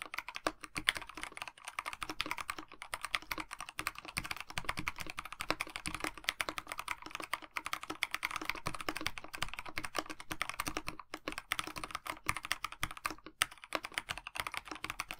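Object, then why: Mechanical keyboard, plastic case with PBT keycaps. Both hands' fingertips type continuously on a KBD67 Lite 65% mechanical keyboard with a black plastic case, white blank PBT keycaps and lubed Dinokeys Mints linear switches. The result is a dense, steady stream of quick, clacky key taps, strongest in the midrange around 1–2 kHz, each tap dying away almost instantly.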